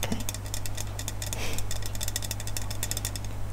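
Fingernails rapidly tap the side of a hand-held, hand-sized L'Oreal Elvive hair mousse can, a hollow, pressurised aluminium aerosol can with a plastic cap, held in the other hand. The taps come as a quick run of short, bright metallic ticks over a steady low hum.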